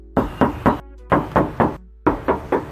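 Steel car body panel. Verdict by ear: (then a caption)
Sound. Nine knocks in three quick groups of three are rapped on the steel body panel of a used 2017 Honda Mobilio RS, with crisp body contours, during a knock test. Each knock gives a clear, short, ringing tap, showing the body is in good original condition with no filler.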